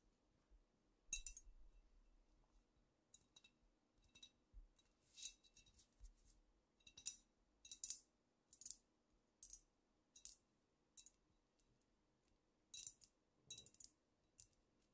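Long nails tap and scratch the sides and top of a squat, apparently filled amber glass cognac bottle. The result is a quiet series of sharp, bright clicks with very short ring, plus brief scratchy strokes between the taps.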